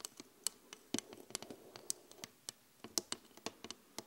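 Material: Glass.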